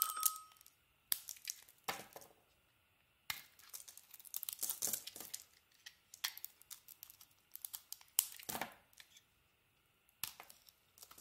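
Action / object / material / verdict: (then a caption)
scrape / soap bar carved with a metal blade / soap / none. A hand-held, hand-sized solid soap bar with a multicolored striped coating and white interior is carved with a metal utility knife blade, shaving off curls and flakes. Crisp, bright scraping and crackling bursts come in clusters with brief silent pauses between cuts and almost no low end.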